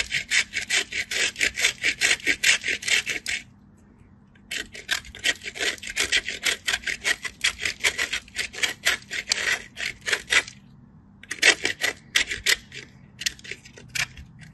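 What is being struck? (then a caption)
Soap bar on a stainless steel grater. A solid white bar of soap is scraped in repeated strokes across a handheld stainless steel grater with visible holes, held by fingers with blue nails. Quick, bright, dry rasping scrapes come in three runs separated by two short pauses, with almost no low end. Each stroke cuts off sharply.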